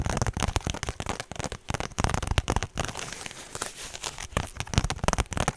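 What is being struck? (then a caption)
Small woven straw handbag. Long pink nails scratch and tap the woven straw face of a small, hollow, rectangular straw handbag held in both hands. The result is a rapid run of dry, crinkly crackles and scratches with soft, low, hollow thumps that stop instantly with no ring. A steadier scratching stretch sits in the middle.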